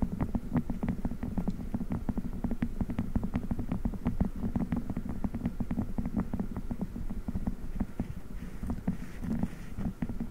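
Fingers squeeze and rub a blue silicone spiked massage pad pressed onto a microphone grille, with faster movements. It makes a dense, continuous stream of rapid, muffled thumps and soft crackles, heavy in the low end with almost no high or bright content. Each tap dies away almost instantly, keeping a steady, close, bassy texture throughout.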